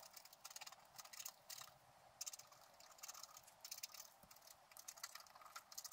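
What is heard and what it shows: A wooden stylus scratches short strokes into the black wax coating of a flat scratch-art card, over the squirrel's body in the picture. Quiet, dry, bright scratching comes in quick clustered bursts with almost no ring, separated by brief pauses.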